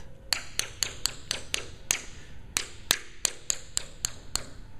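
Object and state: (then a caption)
Well-bonded rotor blade doubler. A series of 14 sharp, bright taps runs along the glued laminated doubler area of a Bell 47 helicopter rotor blade. Each tap is a short, high-pitched click with almost no ring. All of them sound alike, and the doubler is judged soundly bonded with nothing wrong.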